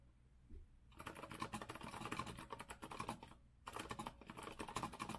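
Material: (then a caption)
Plastic, metal. Fingertips type on a rose-gold Azio retro compact mechanical keyboard with a metal frame and round backlit plastic keycaps, resting on a wooden desk. After a quiet second, a fast run of crisp, clacky keystrokes with a bright tick around 1 kHz rattles on, briefly pauses, then resumes at the same rapid pace to the end.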